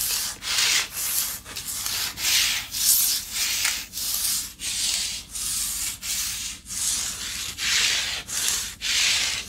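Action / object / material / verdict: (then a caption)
scrape / flat wooden board / wood / none. Long nails scratch along the surface of a long, flat, light, solid wooden paddle board held in a lap. Each scratch is a dry, bright, sanding-like rasp, repeated in steady back-and-forth strokes separated by brief pauses.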